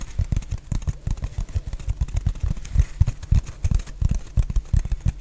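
Long painted nails tap and scratch a solid, hand-sized rectangular block of black foam or sponge. The result is a rapid, irregular patter of soft, dull, low thumps with almost no ring, carried by a faint scratchy hiss.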